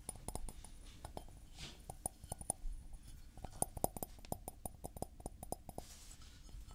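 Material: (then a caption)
Porcelain. A white floral porcelain mug, hollow and empty, is held in both hands, tilted and tapped with fingertips and nails. There are 26 light, clicky taps at an irregular pace, each with a faint ringing tone around 730 Hz and a bright edge from the nails. Each tap dies away almost at once against a soft, low background hum.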